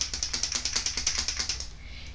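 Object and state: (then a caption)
Lipstick tube with a mixing ball rattling inside. A Superstay Vinyl Ink liquid lipstick tube is shaken before applying, so the small mixing ball inside rattles and needs a good shake. About 16 quick, bright clicks run evenly for roughly 1.7 seconds, then fade into low background hiss.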